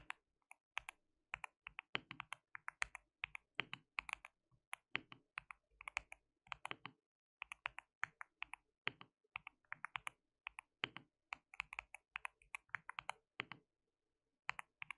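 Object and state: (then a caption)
Mechanical keyboard with plastic keycaps. Fingertips of both hands type continuously on a white mechanical keyboard with plastic keycaps, producing a steady stream of quick, bright clicks that die away almost instantly. The quiet, rapid clatter runs in bursts, with a longer pause near the end before a few final keystrokes.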